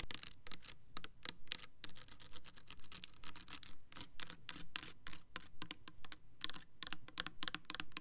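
Long nails tap and scratch the body and pump neck of a clear plastic Cranberry Peach foaming hand soap bottle with a diamond texture, filled with liquid. Quick, dry, bright clicks come in fast, uneven bursts mixed with short scratchy rasps, each tap dying away almost at once.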